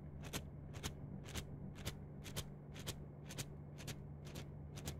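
A yellow-green plastic mesh net sleeve is bunched and stretched in both hands while long nails scratch and crinkle the mesh close to the mics. Quick, bright scratchy rasps come in paired bursts about twice a second over a quiet, steady low hum.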